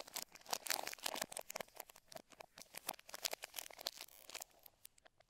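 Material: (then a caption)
Plastic film. Gloved fingertips rub, smooth and peel a thin clear plastic film bag across the underside of a black Razer BlackWidow V3 65% mechanical gaming keyboard lying face down. Dense, bright crinkling and tearing crackles come in quick bursts of short, dry rustles with no low end, thinning out toward the end.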